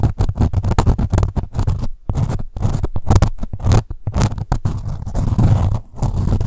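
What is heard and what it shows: Long nails scratch along the ribs near the label of a soft, blue-grey ribbed corduroy pouch. Quick, rough scraping strokes come in dense bursts with brief pauses between them. The sound is low, dull and textured, with little brightness.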